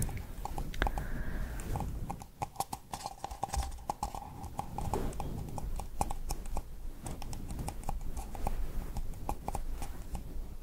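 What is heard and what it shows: Long purple nails tap quickly on the base and sides of a small, hollow, empty pink paper cup held upside down. The result is a rapid stream of light, clip-clop-like taps over a low background rumble.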